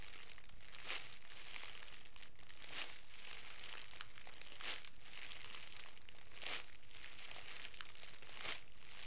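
A hand-sized loose bundle of crumpled clear plastic cellophane wrap, a thin transparent film, is squeezed and crinkled by the fingertips of both hands. A steady, dense crackling hiss runs throughout, with five brighter, louder crinkle bursts spaced about two seconds apart.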